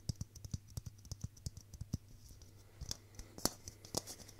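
A hand-sized hollow clear plastic Christmas bauble filled with pink tinsel is tapped repeatedly with fingertips and nails. The result is a quick, uneven run of dry, bright plastic clicks and ticks that die away almost instantly, with a faint steady low hum underneath.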